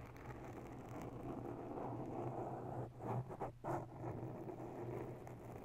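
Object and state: Foam microphone windscreen being scratched.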